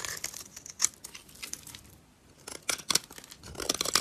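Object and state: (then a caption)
Dry soap bar being scraped. A utility knife blade cuts and scrapes crumbly flakes off a solid, dry purple soap bar held in the hand. The sound is a series of bright, dry crunching scrapes with little low end, easing into a near-silent pause at the midpoint before louder cuts resume.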